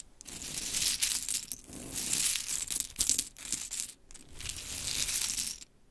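A pile of small pink wooden mini clothespins is gathered and rubbed together by hands, then scratched with long chrome nails. The result is a bright, dry, clattering crinkle in several bursts separated by short pauses.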